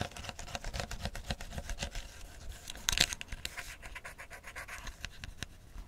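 A hand-sized, hollow, clear plastic PET bottle full of amber tea, with a gold cap and a paper-style label, is held in one hand. It is scratched and tapped with the fingertips and short nails of the other hand. The result is a steady, quiet stream of bright, crackly scratches and quick light taps, with a louder rasping burst near the middle.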